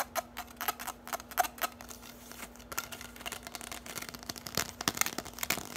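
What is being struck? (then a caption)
Bundle of plastic drinking straws. Long nails tap and scratch a bundle of hollow orange plastic drinking straws, making a rapid, uneven run of sharp, bright plastic clicks and scrapes. The clicks stop short with no ring, over a faint steady low hum.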